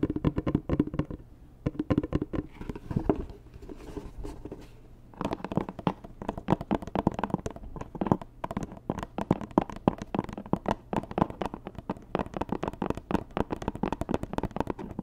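Long nails tap quickly across a hollow, white rigid cardboard Dior gift box, making dense bursts of dry, hollow clicks with a low resonant thump. A softer, quieter stretch of lighter tapping or scratching runs from about 3.5 to 5 seconds before the fast tapping resumes. A faint steady low hum sits underneath.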